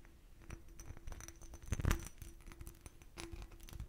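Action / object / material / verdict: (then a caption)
scrape / hobnail glass bottle / glass / none. An empty, hollow, clear glass bottle with a raised hobnail texture is scratched and tapped with fingernails. The result is a run of quick, dry clicks and scraping ticks with a faint steady tone underneath. A louder cluster of taps comes in the middle.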